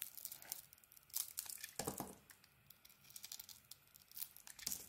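A utility blade shaves the face of a solid green ISANA bar of soap with a glitter edge and a white core. Quiet, bright, crisp scraping strokes come in uneven bursts, with a few louder, fuller crunches and light crinkly flakes between them.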